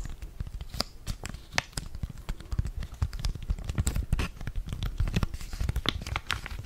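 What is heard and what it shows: Fingers crinkle and squeeze a flat blue foil-laminated sachet holding a sheet face mask close to the mic. The result is a steady run of dense, crackly crinkles with sharp bright snaps over a heavy low rustle, each crackle dying away almost instantly.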